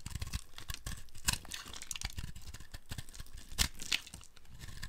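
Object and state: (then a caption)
Dry soap being carved. A dry, speckled multicolor soap ball is held and carved with a flat metal blade, breaking off crumbly flakes. Rapid, dry scraping and crunching strokes follow one another throughout, with brighter, sharper crackles standing out near the middle and end.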